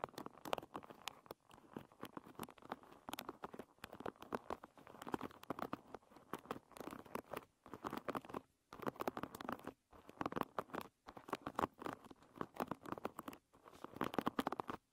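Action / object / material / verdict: scrape / wooden paddle hairbrush with wooden pins / wood / none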